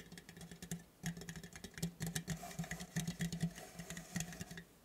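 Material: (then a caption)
Metal. Fingernails tap and scratch the top of a square, purple, printed metal tea tin lid held in the hands. The result is a quick, uneven patter of sharp, bright clicks and short scrapes over a faint low steady hum around 170 Hz, with each tap dying away almost instantly.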